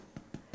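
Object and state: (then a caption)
Hollow, evenly baked choux puff. A baked choux pastry puff, turned over, is knocked three times, giving short, soft, low hollow thuds with almost no ring. The hollow sound shows the puff is cooked evenly, and its inside is dry rather than doughy.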